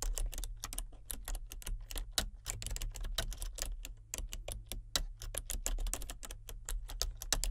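Fingertips with red nails type steadily on a full-size plastic computer keyboard with color-changing backlit keys. Quick, crisp, bright key clicks tap in an uneven rhythm, each dying away almost at once, over a steady low hum.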